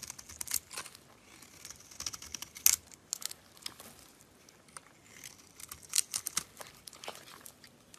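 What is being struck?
Bar of soap.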